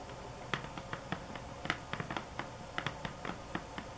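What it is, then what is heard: Cardboard box tapped with fingernails. Long acrylic nails tap the top of a hollow, medium rectangular cardboard box with a sunflower-print covering that lies flat on a table. About 16 quick, dry taps of uneven strength land at an irregular pace, each a bright click with a hollow knock that dies away almost at once.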